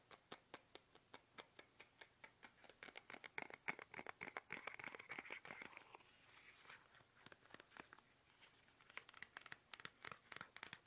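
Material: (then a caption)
Plastic. Fingertips tap fast on a small, soft, hollow plastic toothpaste tube held upright in both hands. The taps are quick, dry and bright, with no ring, and they blur into a dense crinkly patter midway before separating again.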